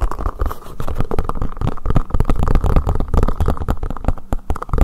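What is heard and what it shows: A hollow green collapsible silicone bowl sits upside down over the microphone while fingertips rapidly tap and scratch its domed top and ridged sides. The result is a dense stream of deep, muffled, boomy thumps mixed with soft rubbing and scraping, with almost no bright or high content.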